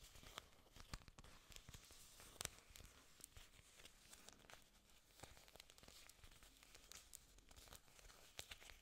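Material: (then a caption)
Plastic. Long nails scratch and rub along a bunch of thin, solid, glossy green artificial orchid leaves, plastic or possibly silicone, held in both hands. A steady, quiet crinkling and bright scratchy hiss runs throughout, broken by many sharp little clicks and snaps.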